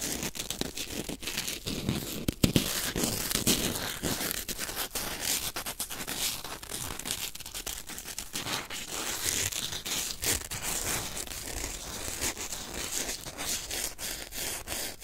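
A small white corn starch foam packing peanut, solid lightweight foam, is pinched, rubbed, crumbled and torn with the fingertips close to the microphone. A dense, continuous stream of bright, dry crunching and crinkling snaps fills the clip, with a few sharper cracks near the start.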